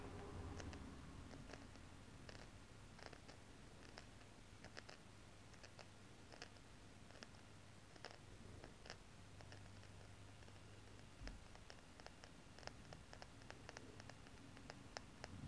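A small, solid gold-tone metal four-leaf clover necklace pendant with green inlay, held at the chest, is scratched and tapped with long green-painted nails. Irregular, quick, bright clicks and ticks ring only briefly over a quiet, steady low rumble.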